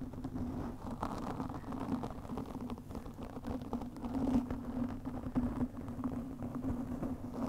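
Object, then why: Foam microphone windscreen. Long nails of both hands scratch fast across a black foam windscreen on a studio microphone. The result is a dense, continuous crackling rustle centered low around 240 Hz, with no high content. It holds steady throughout with small swells.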